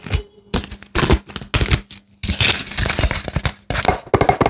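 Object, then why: Plastic and foil blister pack. An empty plastic and foil blister pack is bent, crinkled and pressed with fingers. Bursts of sharp, bright crackling and crinkling come in quick clusters separated by short silences, over a faint steady low hum.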